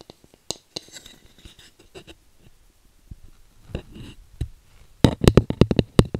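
Long painted nails scratch and tap a flat, solid bamboo cooking spatula, about 30 cm long, held in both hands. Soft, sparse scratches and light taps come first, building to a burst of quick, sharp, dry taps with a dull low body near the end.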